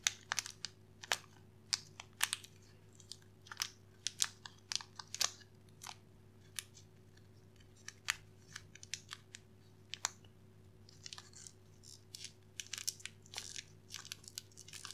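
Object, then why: Wrapped candy in a thin plastic twist wrapper. A small wrapped candy in a shiny yellow and red plastic twist wrapper is held between both hands while the fingertips twist and crinkle the wrapper ends. Quiet, sharp, bright plastic crackles come in irregular bursts over a steady low hum.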